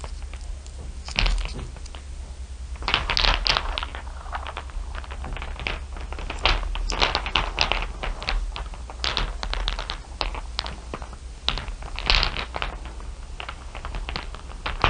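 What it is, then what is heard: Glass marbles clicking together. Fingertips with long nails pick up, rake and tap a heap of small solid glass marbles, clear blue and dark iridescent, so they click together. Dense bursts of bright, sharp clicks come in quick clusters with short pauses between them, over a steady low hum.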